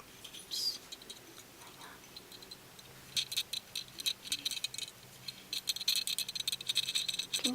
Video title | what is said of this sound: ◦○☺ 11 Triggers for Tingle Inducing ☺○◦ (soft speaking) ASMR | I like the little sound it makes in your ear